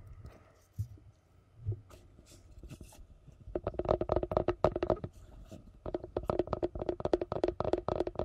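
Gloved fingertips tap and scratch a glossy yellow hollow plastic food container held upside down in front of the mic. Soft scratching and a couple of dull low thumps come first, then rapid runs of short, hollow, mid-pitched taps. The taps pause briefly near the middle before resuming at a quick, steady pace.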